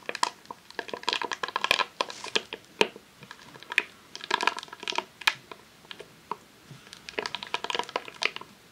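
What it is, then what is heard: Rolled vinyl sheet in plastic wrap. Long nails tap and scratch a long roll of vinyl adhesive sheet in a clear plastic sleeve resting on a tablecloth. Quick, dry clicks and bright crinkling scratches come in uneven bursts, each dying away almost instantly with no low rumble.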